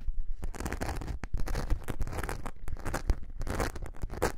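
Long nails scratch the rough surface of a thin glitter foam craft sheet held upright, producing dense, gritty rasping in repeated bursts. The scratching carries a heavy low rumble beneath brighter crackly texture, with each stroke cutting off quickly.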